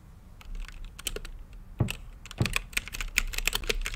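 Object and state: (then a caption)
Plastic mechanical keyboard. Fingertips type on a mechanical keyboard with plastic keycaps and a clear acrylic lit case. Quick, uneven keystrokes make crisp, bright clacks that stop dry, while a few harder presses add a deeper thump.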